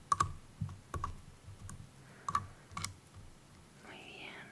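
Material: Plastic.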